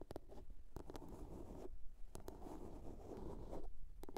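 Long nails tap and scratch the lid and sides of a small hollow blue plastic box. Short, sharp clicking taps break through a steady, dull, low scratching rustle, with no ringing after each tap.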